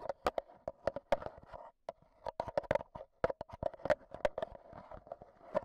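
AA batteries worn like long fingernails tap rapidly on the metal mesh microphone head of a black Zoom H1n handheld recorder held in the hand. The result is an irregular run of sharp, crisp clicks, each with a brief metallic tone around 500 Hz that dies away almost instantly. Quieter scratchy rustling fills the short gaps between taps.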